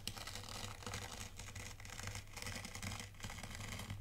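A dark plastic T-rake scratches and drags through dry fine white sand in a shallow tray, leaving parallel grooves. It makes a steady, crisp, gritty rasp with bright grainy detail over a constant low hum near 90 Hz.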